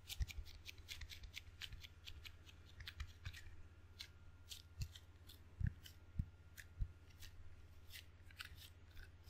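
A table tennis paddle with red and black rubber faces on a solid wooden blade is handled with fingertips and palm, tapping and peeling on the sticky rubber and touching the wooden edge. Dense, quick, short snips and crackles of high, bright texture sound over a steady low hum, with a few louder taps standing out near the middle.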